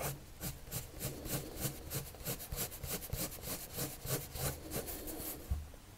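A hand draws with a red patterned colored pencil on a flat white sheet of drawing paper, making quiet, fast, irregular rubbing and scratching strokes. Each stroke is a soft, bright scratch over a low, dull undertone.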